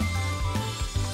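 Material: Nothing is struck.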